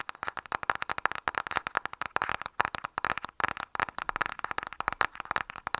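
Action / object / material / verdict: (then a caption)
tap / printed cardboard lipstick palette box / cardboard / none. A flat, rectangular, printed cardboard lipstick palette box is held upright and tapped quickly with the fingernails of both hands. Roughly forty dry, sharp clicks come in a fast, uneven patter, centred in a hollow papery midrange near 1 kHz. Each tap stops almost instantly with no ring.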